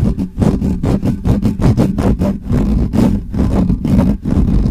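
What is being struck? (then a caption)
Metal mesh microphone grille. Fingertips and nails of both hands rapidly scratch the bare metal mesh grille of a hollow black microphone. The result is a fast, continuous stream of rough, scratchy bursts with a heavy, boomy low rumble and a muffled character.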